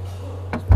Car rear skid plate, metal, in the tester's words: 진짜 금속인데 두께도 상당히 두꺼운 것 같아요. 만약에 이게 얇았으면 텅텅 비어있는 소리가 날 텐데